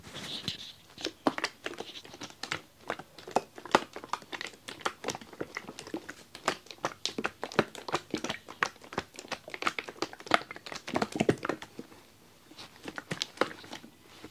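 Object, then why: Plastic toilet cleaner bottle with liquid. A hollow blue plastic Harpic toilet cleaner bottle with a red nozzle, holding liquid, is held close and shaken. It makes a dense run of quiet, sharp plastic crackles and liquid sloshing ticks, with a brief lull around the twelfth second before the shaking resumes.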